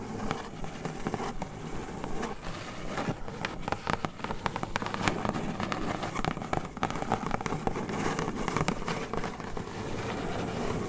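Long acrylic nails on both hands scratch and tap across a flat brown corrugated cardboard sheet. A steady, dry scratching crackle runs throughout, broken by quick, sharp taps that stand out briefly. The overall sound is dull and papery, weighted toward the low end with little brightness.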